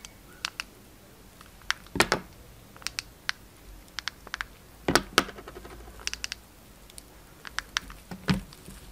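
A utility knife cuts into a hand-held bar of translucent orange glycerin soap set with yellow soap cubes and a twine loop. Sparse, dry clicks and crisp snaps are heard, with louder crunching cuts near 2, 5 and 8.3 seconds. Each sound dies away almost instantly against a quiet background.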